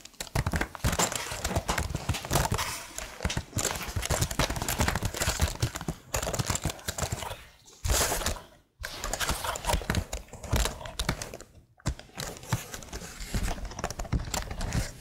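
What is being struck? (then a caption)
Plastic laptop keyboard. Long nails tap rhythmically across the keycaps of a tilted plastic laptop keyboard. The result is a steady stream of rapid, dry clicks with bright edges and a low, hollow body, broken by brief pauses.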